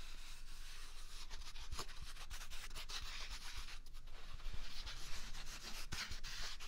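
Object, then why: Paper toilet roll. A single large, upright white paper toilet roll with a hollow core is rubbed with a flat palm and fingers across its top and side. The result is a steady, soft, papery rubbing hiss with bright, scratchy texture and faint low thumps from the hand.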